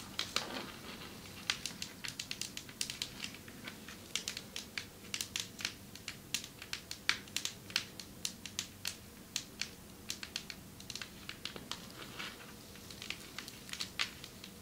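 Long metallic nails tap on a marble table top in quick, irregular bursts. Each tap is a sharp, bright click that dies away almost instantly, over a faint, steady low hum.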